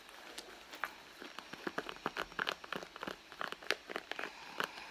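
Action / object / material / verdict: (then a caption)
scrape / soft leather handbag / leather / none. Long blue nails scratch and rub the surface of a red soft leather handbag, a hollow padded bag lying on its side on a mat, with both hands resting flat and bracelets worn while the wrists stay fairly still. A quiet, rapid series of short, dry scratching clicks and crinkly rubs is heard. They are bright and papery with almost no low end, and each stops almost instantly.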